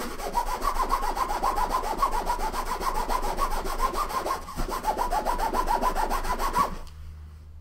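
The top of a large, closed, hollow soft-sided blue nylon suitcase resting on a wooden table is wiped and rubbed with a green microfiber cloth, making rapid, steady scratchy swishing strokes about three to four times a second. A brief break midway marks the cloth being refolded before the brisk rubbing resumes, then it stops, leaving only a faint low hum.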